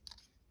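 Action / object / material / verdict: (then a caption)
tap / polymer folding knife handle / polymer / hollow. A tap and scratch on the polymer handle of a Hogue Deka folding knife produces a short, bright, clicky rattle with crunchy high overtones and almost no ring. The handle sounds hollow, a sign of polymer that feels cheap and light.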